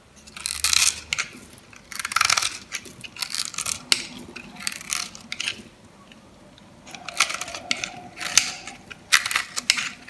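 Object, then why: Bar of soap cut with a metal blade. A metal blade shaves scored cubes from a dry, solid, light-green bar of soap held in the palm. It makes bursts of bright, crisp crunching and scratching, with brief quiet gaps between strokes.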